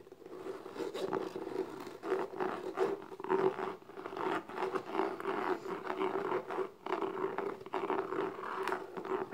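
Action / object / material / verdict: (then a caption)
scrape / small textured cardboard gift box / cardboard / none. Long nails scratch and tap the lid of a small, closed, hollow black textured cardboard gift box. The result is a dense run of rough, rasping scrapes and soft taps with a steady hollow hum around 380 Hz beneath them.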